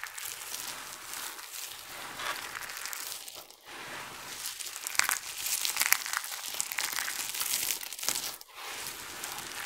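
A hand squeezes a handful of dry, colorful soap flakes from a heap, then both hands press and rub across the surface of the pile. The result is a dense, bright crinkling crunch with almost no low end, growing louder and sharper in the middle of the clip before easing off.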